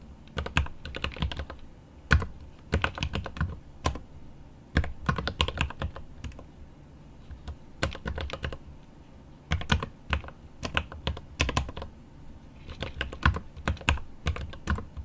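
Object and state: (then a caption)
Mechanical keyboard with plastic keycaps and aluminum case. Fingertips type on a mechanical keyboard with plastic keycaps and an aluminum case. Bursts of quick, sharp key clacks with a deep low thock come in runs separated by brief pauses, and each keystroke dies away almost at once.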